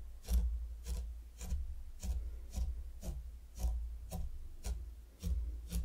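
A mini wooden rake held by the fingertips scrapes rows of lines into fine pink sand covering a large heart-shaped wooden board. Each stroke is a soft, gritty rasp with a bright hiss, repeating at a slow, uneven pace over a steady low hum.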